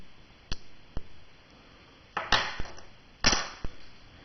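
A fake silver dollar coin is tapped several times, giving short, dull clicks whose ring dies away almost at once. The note is low and brief, unlike the longer, higher ring of a real silver dollar, marking the coin as fake.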